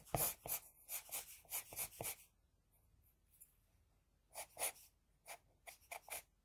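An HB pencil scratches across a flat sheet of drawing paper, drawing hair strands in thirteen short, bright, raspy strokes. The strokes come in two bursts separated by a quiet pause of about two seconds.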